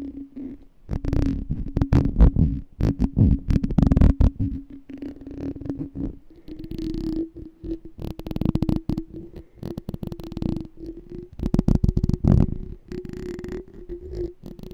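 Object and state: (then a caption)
Glass jar with metal lid. Fingertips and nails tap the ridged, embossed silver metal lid and the glass of a small hollow clear glass jar partly filled with water. The result is a dense run of soft, low, muffled taps that die away almost at once. A steady low hum sits underneath, rising slightly in pitch about halfway through.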